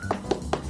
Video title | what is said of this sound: Woody surprise Jackson Wang with his favorite fruit Durian💚 | they hit on the durian yep to see if it's mushy or if it's hard